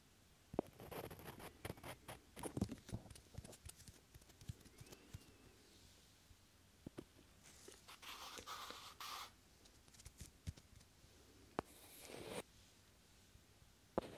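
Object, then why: Small wooden blocks. Two small, solid, light wooden cubes are held by the fingertips beside a binaural microphone's ear and slid and rubbed against each other. Soft, dry scraping and rubbing is broken by sharp little wooden clicks and taps, with longer bright, hissy slides near the middle and end. The sound stays quiet and close, and each click dies away almost instantly.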